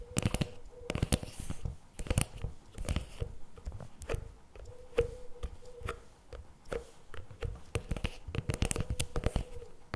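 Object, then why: Plastic spread tub. Fingertips and nails tap and scratch the top lid and upper sides of a CremaNovi plastic spread tub standing upright. Dense, short, dry taps and scratchy rubs come in rapid irregular bursts, with a faint steady hum near 500 Hz underneath.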